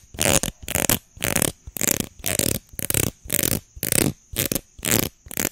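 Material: Plastic.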